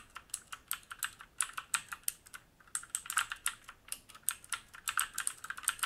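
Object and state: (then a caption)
Mechanical keyboard typing. Fingertips type quickly on a black mechanical keyboard with plastic keycaps and a metal top plate and frame, resting on a wooden desk. Short, crisp clacks follow in a fast, uneven stream, with a brief pause near the middle. Each click is bright with a mid-pitched body, has almost no low end, and dies away instantly.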